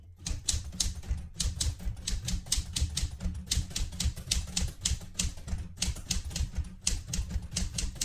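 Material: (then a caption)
Metal. A metal portable manual typewriter is typed on continuously with fingertips on its plastic keys, giving a steady, slightly uneven run of sharp bright clacks over a low mechanical thump. The keystrokes come in quick bursts with brief pauses.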